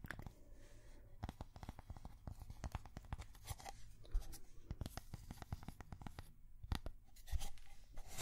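A thin, solid, square cork coaster is held up and tapped and scratched with long fingernails. Rapid, dry, muffled taps mix with scratchy rustling, and some louder knocks stand out. Each tap stops almost instantly, with no ring.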